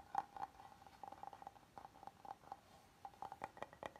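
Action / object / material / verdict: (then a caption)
tap / oval wooden serving board / wood / none. A flat, solid oval wooden serving board is held upright while fingertips and nails tap and scratch its face. The result is a quick, irregular run of soft, dry knocks with a hollow tone around 800 Hz, each dying away almost instantly, mixed with faint scratching between them.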